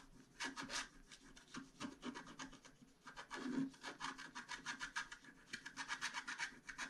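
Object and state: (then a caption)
Scratch-art paper sheet. A small wooden stylus held in the fingertips scratches across a flat scratch-art card page of black coating over metallic foil, held flat on a table. It makes a quick series of dry, raspy scratching strokes that come in bursts with short pauses, bright and hissy with a faint low body and almost no ring after each stroke.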